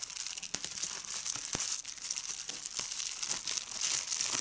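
Clear plastic bubble wrap with large air bubbles is pressed between fingers with red nails, making bright crinkling and sharp popping snaps as the bubbles burst. The energy sits almost entirely in the high range, with quick transient pops over a steady crackle.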